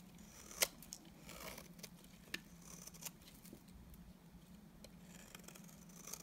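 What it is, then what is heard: Dry bar soap being scraped. A utility knife blade scrapes thin curls off the face of a solid, dry, cream rectangular bar of soap. The quiet, crisp scraping is bright and broken by a few sharp clicks, over a steady low hum.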